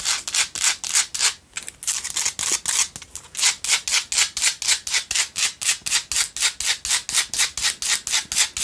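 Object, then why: Salt block tealight holder. Long nails scratch a pink Himalayan salt single tealight candle holder while it is turned in the hand. About 35 quick, bright, hissing scrapes come roughly four per second, each swelling and cutting off sharply, with a brief quieter pause near the start.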